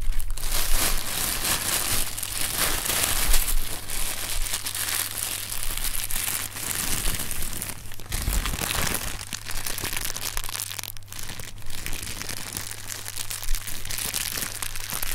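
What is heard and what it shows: Fingertips squeeze and knead inflated, hollow, clear polyethylene air cushion packing pillows printed with green "Sealed Air" text from Amazon packaging. The plastic gives a steady stream of dense, bright crinkling and crackling over a constant low hum.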